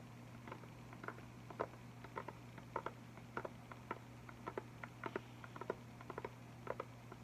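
An Arteza box of 16 liquid chalk markers, about 20 cm wide, with a clear plastic top section and a printed cardboard front, is held up full of markers in both hands while fingertips tap its surface. About 28 quick, dry, irregular taps patter with short crisp ticks over a steady low hum.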